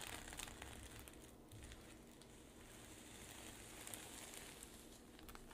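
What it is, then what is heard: Sequin fabric pouch being scratched. Long pink nails scratch and brush across a flat rainbow reversible-sequin pouch with a black zipper edge lying on a table, flipping the sequins to silver. The result is a quiet, steady crinkly rustle with a low rumble underneath and small bright clicks and crackles scattered throughout.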